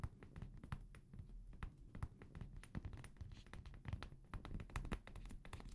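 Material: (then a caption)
Glass. A small amber glass perfume bottle with a paper label, held sideways in both hands, is tapped with fingertips and nails. A quick, uneven run of soft taps and clicks sounds, each dying away almost at once. The sound is mostly low and dull, with occasional brighter clicks.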